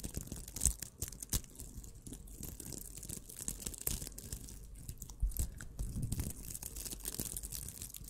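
Long nails and fingertips scratch and squeeze a small, puffy purple scrubber of crocheted nylon mesh, soft, squishable and not hollow, held in both hands right in front of the microphone. Dense, crunchy, scratchy rustling runs throughout, with a low rumble underneath, bright hiss on top and a few sharper crackles.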